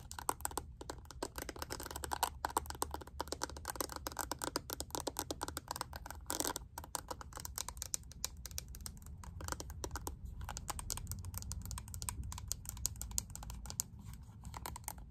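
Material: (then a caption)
Plastic. Long nails tap rapidly on the edges and holographic faceted lid of a small, hollow, pink plastic square makeup compact. The taps are dense, dry and clicky, with almost no ring, centered around 1 kHz over a steady low hum.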